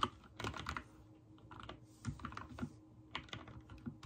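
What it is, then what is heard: Mechanical keyboard with plastic keycaps. Fingertips type on a backlit mechanical keyboard with white and teal plastic keycaps. Irregular bursts of short, sharp key presses each click with a mid-pitched tap near 1.2 kHz and die away almost instantly. A faint steady low hum sits underneath.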